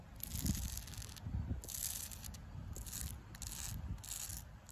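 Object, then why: Tree bark on a trunk. Long pink acrylic nails scratch downward over the flaky bark of a solid tree trunk. Repeated bright, dry rasping strokes crackle and rustle across the bark over a low, steady rumble.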